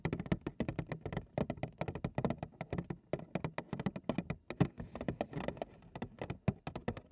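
A large printed cardboard cereal box, hollow and possibly full or empty, is held in both hands while long acrylic nail tips tap rapidly on its front panel. The result is a quick, uneven patter of short, dry, hollow taps with a low, boxy thump near 180 Hz and little bright edge. Each tap dies away almost at once.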